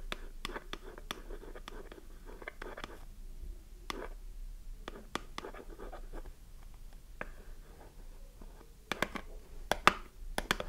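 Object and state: Cardboard soap box scratched and tapped.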